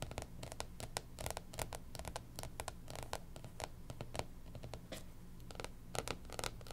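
Long pink nails scratch and tap on the cover of a closed, striped hardcover planner lying flat. Quick, dry scratching strokes and light taps come as short bright bursts in an uneven rhythm. Beneath them runs a steady low hum, and the whole clip stays quiet.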